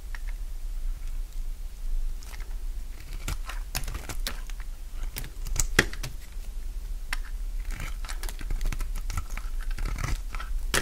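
A solid bar of dry purple soap is held in the palm while its edges and face are shaved with a utility knife blade. The result is a run of short, crisp scraping and cutting crackles, with brief bright clicks scattered over a steady low hum.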